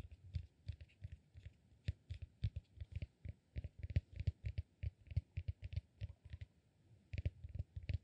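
Fingernails scratch and tap the upper lobe of a solid, peanut-shaped cork massage ball held upright. The result is a quiet, irregular stream of quick, dry taps: dull low thuds with short, bright clicks, each dying away almost at once.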